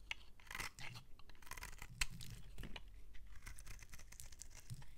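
A metal utility-knife blade scrapes across a solid, palm-sized, cream-colored bar of soap held in the hand, shaving curls off its surface. Crisp, bright scraping and crunching strokes repeat throughout, with a sharper crackle near the middle, over a quiet low rumble.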